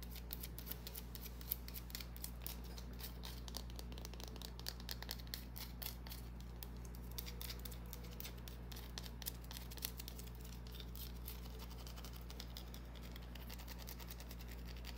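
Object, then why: Small bar of soap. Long nails quickly scratch a small, solid green bar of soap held in the fingers, making rapid, crisp, dry scratching clicks. The clicks sit over a steady low hum.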